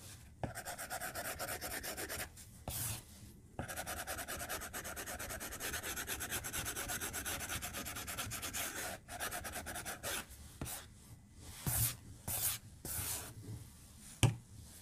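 A white plastic stylus held in the fingertips strokes and scratches across the glass touchscreen of an iPad-style tablet in a white case, lying flat on a desk, while drawing. Long stretches of steady, bright, dry rubbing and scratching are broken by short silent pauses. Quicker, choppier strokes and a sharp tap come near the end.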